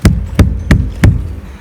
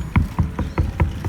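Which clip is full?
The second.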